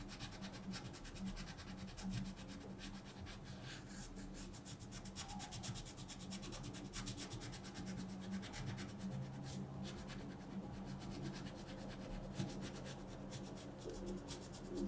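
A colored pencil rubs a thin paper mandala page in a coloring book lying flat on a table with short, repeated strokes. The result is a quiet, steady, dry scratchy rasp made of fast, closely spaced strokes, over a faint low hum.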